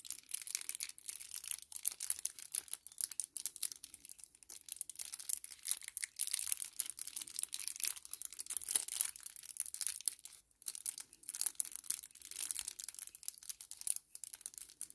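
A small, flat 10ml kraft paper sachet, likely plastic-lined, is held in both hands and crinkled and crumpled with the fingertips. It makes a soft, dense stream of bright, dry crackles and rustles with no low end. The crackles come in uneven bursts that cut off instantly.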